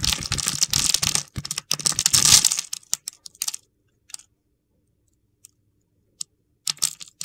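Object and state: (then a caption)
Bar of soap being carved. A utility knife blade scores and scrapes grid cuts across a solid, translucent, palm-sized red bar of soap held in one hand, shaving off small cubes. Dense, bright, crunchy scraping and crackling fills the first three and a half seconds. It then thins out to a few isolated sharp clicks and a final short burst of crackling.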